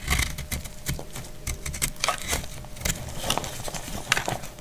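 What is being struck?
Soap bar cut with a metal blade.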